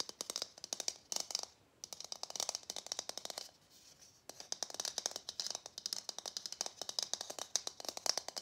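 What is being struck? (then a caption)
Plastic Christmas bauble. A hollow matte gold plastic Christmas bauble is tapped and scratched with fingernails. Quick bursts of bright, dry clicking taps and scratches are heard, with brief pauses near 1.8 seconds and between 3.5 and 4.2 seconds. Each tap stops almost instantly, with no ring.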